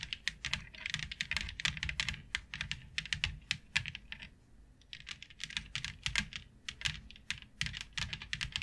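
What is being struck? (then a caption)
Plastic grid board. Long nails tap rapidly on a flat white plastic plaid grid board with a fine grid pattern, making dense bursts of sharp, bright clicks with almost no ring. The tapping comes in quick runs, eases off briefly just past the midpoint, then picks back up.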